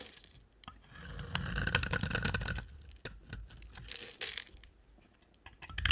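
A utility knife blade shaves and scrapes a solid, dry, amber-orange rectangular bar of soap, sending curls falling away. Crisp, bright scraping strokes rise and fade irregularly, broken by sharp short clicks and ticks.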